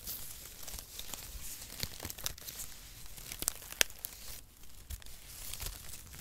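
A bundle of thin, light, dry strips of brown cut cardboard packaging is held in both hands and squeezed and crinkled between the fingers. Dry crackling and rustling continues throughout, with sharp, bright snaps standing out above the quieter papery texture.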